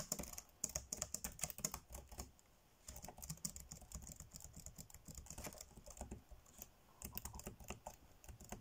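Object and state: Plastic laptop keyboard being typed on.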